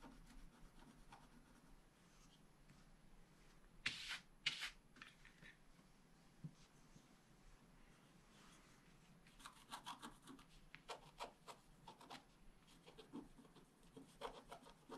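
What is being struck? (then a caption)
Coated scratch art paper scratched with a wooden stylus. A wooden stylus scratches fine lines into the coating of a black-coated scratch art sheet held flat by one hand. Quiet, bright, dry scraping strokes come at an irregular pace, with two sharper, louder scrapes near the four-second mark. A denser run of short strokes follows in the second half.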